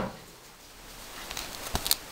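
A hand-shaped baked bread loaf is handled, and its crust gives off faint, dry crackling ticks followed by three sharper, bright cracks near the end. The crackling shows the crust is crisp and well baked.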